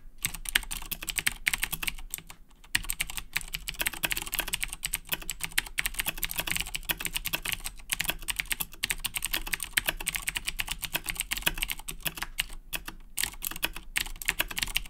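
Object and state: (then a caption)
Plastic mechanical keyboard. Fingertips type steadily on a black Razer BlackWidow 2010 Edition mechanical keyboard with Cherry MX Blue switches and plastic keycaps. The result is a rapid stream of sharp, bright, clicky keystrokes that die away instantly, with a brief pause near the start and a faint steady low hum underneath.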